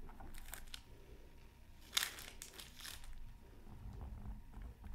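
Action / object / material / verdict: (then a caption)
scrape / coated paper scratch art card / coated paper / none. A pointed bamboo stick scratches fine strokes into the coating of a thin, solid, flat black-coated scratch art card resting on a silicone mat. Soft, bright, crinkly scraping comes in short bursts over a low background rumble, with one sharper, louder scratch near the two-second mark.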